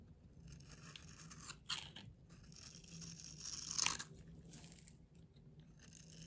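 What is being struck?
Bar of soap scraped with a knife blade.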